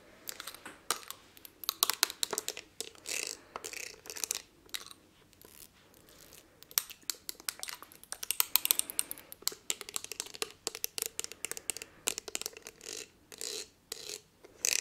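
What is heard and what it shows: Long nails tap and scratch a palm-sized blue textured glass perfume bottle. Quick, bright clicks alternate with short scratchy bursts; each tap is sharp and dies away almost at once. There is no low end, and the taps come in uneven clusters with brief pauses between them.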